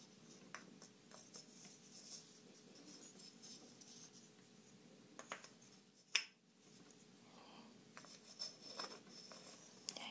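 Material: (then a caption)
Wood. Long manicured nails scratch and tap two small, smooth, curved light-wood blocks held in both hands, and the hand-sized pieces rub together. Quiet, bright scratching and rubbing is broken by several short, dry taps that die away almost at once, with one sharper clack near the middle.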